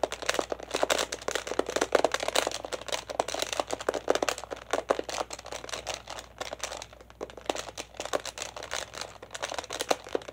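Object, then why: Plastic toy laptop keyboard. Fingertips and nails tap rapidly on the plastic buttons of a hollow plastic children's toy laptop. The result is a dense, irregular stream of short, dry clicks with a hollow midrange tone and bright edges, easing briefly around the seventh second before picking back up.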